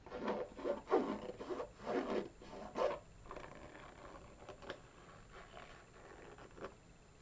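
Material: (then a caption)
Rubber, canvas. Fingertips and nails scratch and rub the textured white rubber sole of a single hollow, empty burgundy canvas Vans-style sneaker held close to the microphone, then move to the canvas upper. Rough, raspy strokes come in uneven bursts for the first three seconds, then give way to quieter, softer scratching with a few light ticks.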